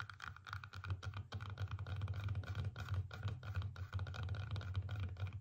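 Long painted nails rapidly tap and scratch a whole red apple with stickers on it, a solid fruit resting on a table. The result is a dense run of short, dry clicking taps over a steady low, muffled thump, with little high-end brightness.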